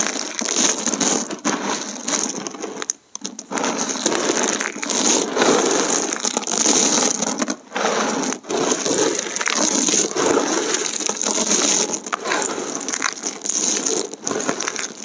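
Fingers rub and crush a heap of brittle, colorful dried soap plate shards from 125 broken soap plates, then drop a handful back onto the pile. A dense, bright crackling and crunching runs throughout with almost no low end, pausing briefly near 3 seconds and around 8 seconds.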